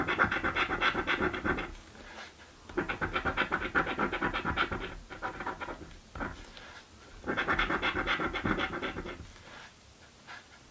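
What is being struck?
Paper scratch card scratched with a coin edge.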